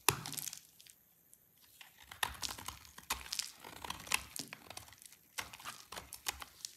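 A solid oval bar of dry white soap, pale lilac in colour and held in the hand, is shaved with a snap-off utility blade. Bright, dry scraping and crackling crunches come in quick bursts, with a brief quiet pause near the start. Each crisp cut dies away almost instantly.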